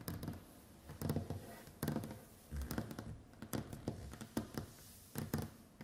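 Long white acrylic nails on both hands tap and scratch across a large solid wooden tabletop with a varnished surface. The result is irregular bursts of quick, dull knocks and clicks mixed with soft scraping, low in pitch and dying away almost instantly.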